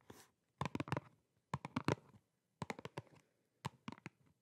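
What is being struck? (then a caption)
Small cardboard box. A small, flat, printed, hollow cardboard box is held in both hands and tapped and scratched with long painted nails. A brief scratchy rustle is followed by four clusters of quick taps, about 15 in all. Each tap has a hollow low thump, a crisp bright click, and very little ring, set against near silence.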